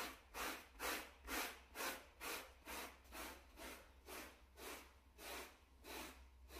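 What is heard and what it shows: A small, solid, flat grey plush shag carpet mat is scrubbed with a wooden-backed bristle brush held in a gloved hand. Each back-and-forth stroke makes a broadband, bright scratchy swish that swells and fades in a steady rhythm of about two strokes per second. A faint low hum runs underneath.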